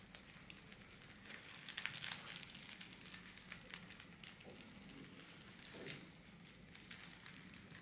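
A flat pink metallized holographic foil wrapping sheet, folded and lying on a wooden table, is scratched, pressed and crinkled by fingertips and long black-painted nails. Soft, bright crackling and crinkling rustle runs throughout, with irregular sharper crackles, the loudest around two seconds and near six seconds in.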